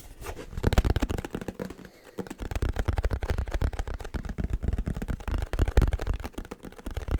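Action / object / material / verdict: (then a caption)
tap / cardboard box / cardboard / none. Fingers tap on the cardboard packaging box of a new camera teleconverter in quick, uneven bursts. The taps are dull, low thuds with almost no ring, and they pause briefly around the two-second mark.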